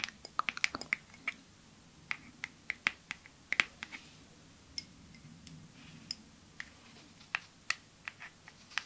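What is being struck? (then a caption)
Glass perfume bottle tapped with fingernails. A clear glass perfume bottle with a white cap, held in one hand, is tapped with long nails. About 25 light, sharp, high-pitched ticks land in an irregular rhythm, each dying away almost instantly. The taps are quiet, with a faint glassy tone around 2 kHz.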